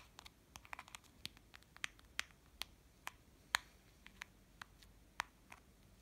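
Fingernails scratch and tap the face and case of a small pink and yellow plastic children's watch with a printed princess face cover, held in the fingers. Around sixteen quiet, sharp, bright clicks and ticks are heard, spread irregularly over a faint hiss with almost no low end and no ring after each tap.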